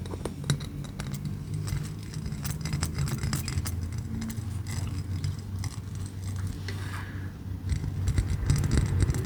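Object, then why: Small pieces of sea glass. Pieces of sea glass collected from beaches, mostly brown, are handled and tapped, giving quick, irregular clicks and light clinks over a steady low rumble. The tapping runs throughout, growing a little louder and busier near the end.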